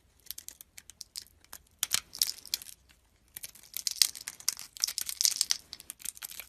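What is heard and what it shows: A utility knife blade scrapes and shaves thin curls off a small, solid yellow soap piece carved into a rose and held in the fingers. Quick, dry, bright crinkly scraping strokes come in two runs with a brief silence just after three seconds. Each stroke is crisp with almost no low end and stops instantly with no ring.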